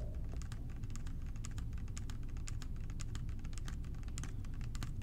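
A clear plastic bottle with a blue cap, partly filled with blue liquid and held in both hands, is tapped quickly with fingertips and short nails. Dense, rapid, crisp clicks ride over a steady low rumble for the whole clip.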